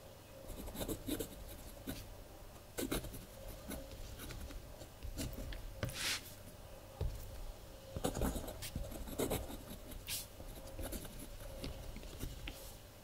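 A blue ballpoint pen scratches across the collaged paper pages of a spiral-bound kraft paper journal lying flat on a wooden table. Soft, scratchy writing strokes come in uneven bursts, some sharper and brighter, over a low rumble and a faint steady tone.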